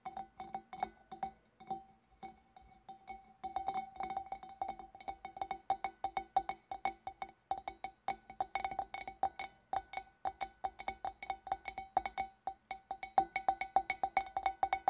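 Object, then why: Glass fish bowl. Long dark nails tap the rim and upper sides of a large, clear, empty glass fish bowl in a quick, uneven rhythm. Each short, bright clink rings at a steady pitch near 770 Hz and dies away almost at once. The taps come in dense bursts separated by brief pauses.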